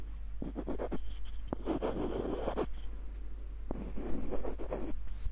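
Fingertips and short nails scratch along the ribbed screw threads and tap the hollow body of a small light-wood screw nutcracker with a dark wooden knob. Quick bursts of dry scratching alternate with sharp, clicky taps, over a steady low hum.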